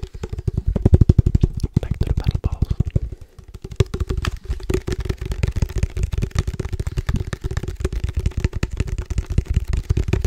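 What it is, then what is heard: Plastic padel ball tube, hollow. Fingertips quickly tap the side of a hollow black plastic padel ball tube with a metal top rim, held in one hand. The result is a rapid, continuous stream of short, dull, low thumps with a faint hollow resonance, broken by a brief pause about three seconds in.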